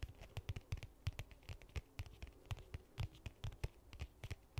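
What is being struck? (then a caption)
Hard-shell case with faux leather cover. A medium-sized, hollow black hard-shell case with a faux leather cover is held in both hands and scratched and tapped with long nails. About 25 quick, dry taps ring out, each a soft hollow thump with a bright clicky edge that dies away almost instantly, over a faint scratching rustle.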